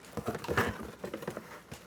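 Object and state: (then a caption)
Box with loose foam packing. A cardboard box with a foam insert is shaken, and the loose foam rattles and knocks around inside it in a quick series of soft, dull clatters. The foam is loose and moving inside the box rather than held snugly, so it needs paper padding added.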